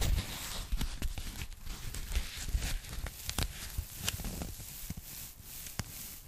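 Long manicured nails and fingertips tap and scratch the surface of a thin, flat, light and flexible pink polyethylene foam packing bag held close in front of the mic. A soft, rustling low rumble of handling runs throughout, broken by sharp, bright taps and scratchy crinkling hiss.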